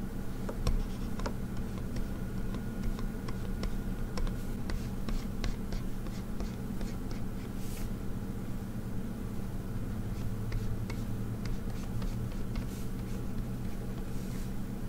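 A hand draws line art on an XP-Pen Artist 15.6 Pro pen display, a solid device with a matte glass screen lying on a desk, scratching and tapping it steadily with a plastic stylus tip. Soft, scratchy strokes and short, dry taps come through over a constant low hum.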